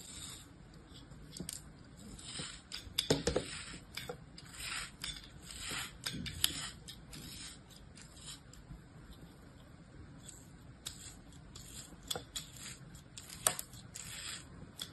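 A small solid block of beige kinetic sand, held in an open palm, is sliced and scraped with a small orange-handled blade. The result is a series of quiet, crisp, bright scratching and crunching cuts, with a few sharper clicks standing out over a soft hiss.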